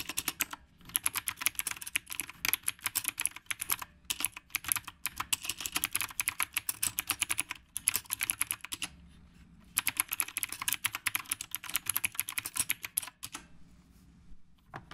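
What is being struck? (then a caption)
Typewriter-style mechanical keyboard with round plastic keycaps. Fingertips type on a retro typewriter-style mechanical keyboard with round plastic keycaps, producing rapid, bright, sharp clicks with very short decay. The typing comes in bursts separated by brief pauses and slows toward the end.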